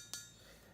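A single tap on a Randy Bowen Batman Dark Knight statue made entirely of bronze. It gives a bright, clinking metallic ring with a high pitch that fades quickly into a faint hum.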